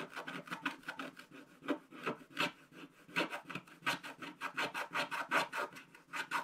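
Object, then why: Wax-coated scratch-art paper scraped with a wooden stylus. A wooden stylus scratches across the top area of a black-coated scratch-art card page bound in a spiral book. It makes a quick, uneven run of short, dry rasping strokes with a bright, papery texture and almost no low end, each stroke fading almost at once.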